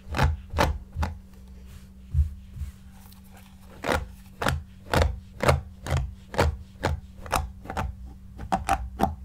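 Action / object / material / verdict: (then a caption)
scrape / stuffed shaggy yarn cushion / yarn / none. A large, soft, stuffed, shaggy light-grey yarn cushion is rubbed with fingertips and brushed with a flat white brush. About nineteen short, irregular strokes produce soft, muffled thumps and brief bright swishes over a steady low hum. Each stroke dies away almost at once.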